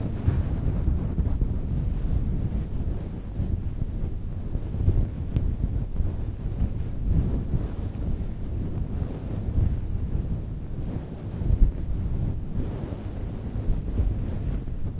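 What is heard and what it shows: Long nails on both hands scratch a large, round, grey-white synthetic faux fur microphone windscreen. The result is a continuous, deep rumbling rustle with nearly all its energy in the low range, steady throughout with small swells.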